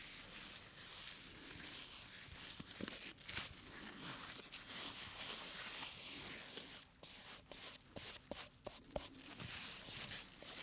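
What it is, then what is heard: Plastic slime jar. A small round clear plastic tub full of green slime, with a printed plastic lid, is held in one hand while a black rubber-gloved hand and bare fingertips tap and scratch its lid and sides. Steady bright, hissy scratching runs through the first half, then gives way to sharp, quick plastic taps with short gaps between them.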